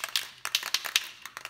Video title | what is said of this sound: EXP-style Guitar Kit Assembly Manual | once you hear the rattle of the ball you just generally shake it up for a minute